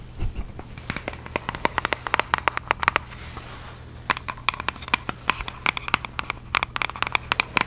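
Long fake nails tap and scratch across the printed surface of a small, hollow red Nike cardboard shoe box held in the hands. Quick, dry, bright clicks come in an uneven stream, broken by a softer scratchy stretch midway, over a faint low hum.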